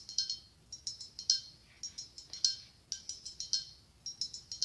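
A medium, hollow, ribbed white blown glass pumpkin with a gold glass stem is held in one hand and tapped with long acrylic nails. The taps come as quick, irregular clusters of bright, high-pitched clinks that ring briefly and fade fast.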